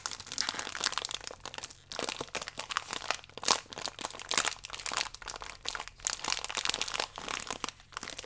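Fingertips and nails crinkle the plastic film of a biscuit pack as it is turned on its side and flipped over. The result is dense, bright crackling and crunching with short pauses and a few sharper, louder snaps.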